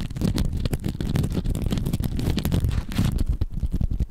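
A hand-sized, soft, porous yellow foam sponge is held in both hands right in front of the microphone and squeezed and scratched with the fingertips. The result is a steady, close-up stream of dense, muffled crackling and scratching, heavy in low rumbling tones with little brightness. Short quick bursts overlap throughout the clip.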